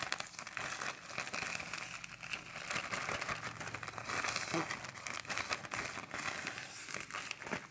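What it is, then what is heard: Plastic garbage bag crinkling. A large, thin, empty and flexible black plastic garbage bag is held in both hands while fingertips and nails crumple, pinch and stretch the film. It makes a steady, dense crinkling with bright, crackly highs and little low end, rising and falling in sharp bursts throughout.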